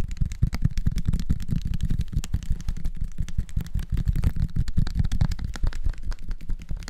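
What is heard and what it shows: A small clear labeled plastic syrup bottle of dark liquid with a red plastic flip-top cap is held in both hands and tapped fast with fingertips and nails. The result is a dense, steady stream of quick, dull, low thuds and light clatter that stop almost instantly, with nearly all of the sound sitting in the low end.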